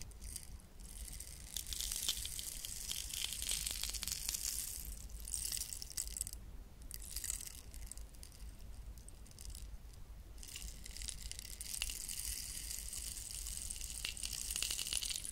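A medium hollow cylindrical wooden rainstick with a black and gold patterned wrap and light wooden end caps, likely filled with small beads, is held in both hands with long nails and tilted end to end close to the microphones. It produces a continuous, bright, pouring rain-like rattle of tiny clicking grains that briefly thins between flows before swelling again, over a steady low background hum.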